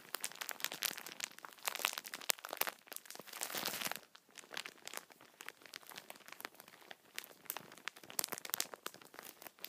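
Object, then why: Tissue pack multipack in plastic film. Fingertips press and grip the plastic film of a tissue-packet multipack resting on a towel, crinkling it. Dense, bright crackling fills the first four seconds, building to a sustained crunchy swell just before the fourth second. It then thins into sparser, sharp crinkles with brief quiet gaps.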